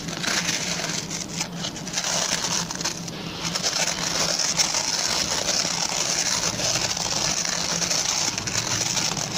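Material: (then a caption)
Plastic. Fingertips and short nails rapidly scratch the plastic pin bristles of a hand-sized oval white plastic brush. The result is a dense, continuous, bright scratching hiss, steady in level throughout, with almost nothing in the low end.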